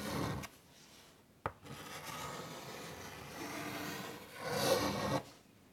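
A white chalk stick held in the fingertips draws curvy lines across a large, flat, wood-framed chalkboard lying on a table. It makes a scratchy, rasping drag broken by a brief sharp tap, then a long steady scrape and a louder, brighter final stroke that fades to quiet.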